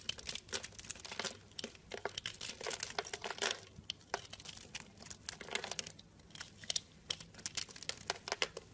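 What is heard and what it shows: A pink-handled utility blade scrapes and chips pieces off a solid blue and white striped soap bar, scored into cubes and held in hand. Dense, bright crinkly crunches and scraping bursts repeat rapidly throughout, with little low end.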